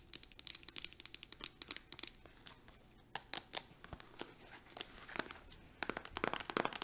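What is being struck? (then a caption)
Plastic hand cream tube. Long acrylic nails tap and scratch quickly on a plastic hand cream tube with a green cap. The result is a dense run of sharp, bright clicks and crinkly scratching, easing into quieter scraping in the middle before speeding up again at the end.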